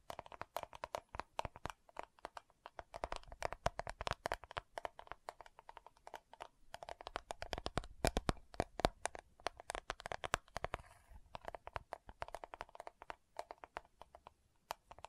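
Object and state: Plastic powder jar.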